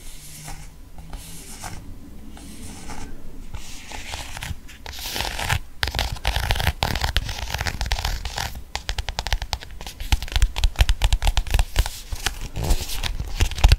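A small pink croc-textured faux leather pocket planner is scratched and tapped with long painted nails. Soft, dry scratching gives way to a busier stretch of quick, crisp taps and scrapes on the textured cover, growing louder toward the end.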